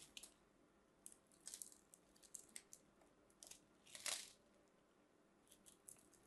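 A metal craft knife blade scrapes and carves small flakes from the edge of a solid white soap bar held in the fingers. The clip is a series of quiet, bright, crisp scratching and crunching strokes with short pauses between them. The longest and loudest scrape comes near the four-second mark.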